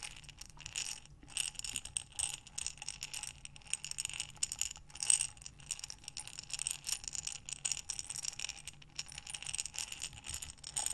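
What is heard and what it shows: A clear glass jar of buttons with a metal lid is held sideways in both hands with long dark nails, then rolled and shaken so the buttons tumble against the glass. The result is a quiet, continuous rattle of bright, dry clinks with no ring, swelling and easing as the jar is turned.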